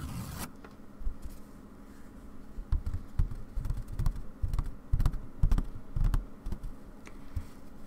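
Long dark nails tap the stretched white fabric of a wooden embroidery hoop as the hoop is repositioned on a table. The result is a series of soft, dull, irregular taps with low thuds and brief clicks over a faint steady hum.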